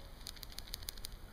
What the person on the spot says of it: when you shake this and jerk it it rattles